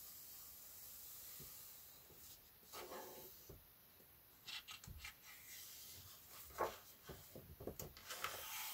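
Both hands, palms and fingertips, rub and smooth across the thin paper pages of a large open paperback colouring book lying flat on a wooden table. Soft, hissing rubbing sounds come and go over a quiet background, with brief brighter swishes as the hands sweep over the paper.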